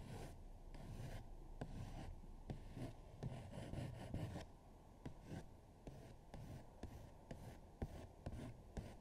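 A hand scratches and rubs a thin paper coloring sheet with a colored eagle drawing, lying flat on a dark table, using long nails and fingertips. The result is a soft, dry, continuous rustle with intermittent sharper scratches that flicker bright.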